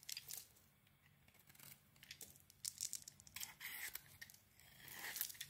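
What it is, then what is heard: Bar of soap being carved. A utility knife blade scrapes and carves a palm-sized rectangular bar of solid white soap with a glossy red coating, held in the hand, shaving it into dry flakes. Crisp, bright, crackly scraping strokes come in short bursts with quiet gaps between them. The sound is almost all high end, with very little low rumble.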